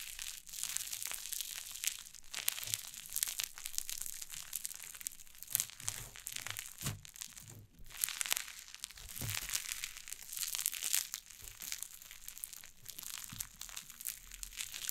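White cloud slime on a wooden table is pressed and scratched with long painted nails for 15 seconds. Dense, bright crackling and crinkling crunches repeat continuously, with a brief quieter gap just before the eighth second.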